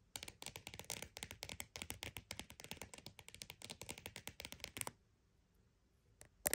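Fingers rapidly tap and scratch a croc-embossed purse, making a dense run of dry, bright clicks and scrapes with very short decay. The run lasts almost five seconds, then goes nearly silent before a couple of final sharp taps at the end.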